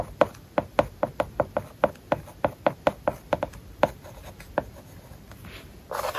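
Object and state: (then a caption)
Stylus writing on a tablet with matte paper-like film. A plastic stylus writes characters on an iPad lying flat, covered with a matte paper-like plastic film, making a quick run of short, dry taps with a hollow midrange click near 600 Hz. The taps thin out toward the end, and a brief, brighter scratchy rustle closes the clip.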